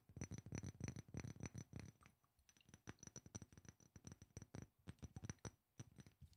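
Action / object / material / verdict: tap / small glass perfume bottle / glass / none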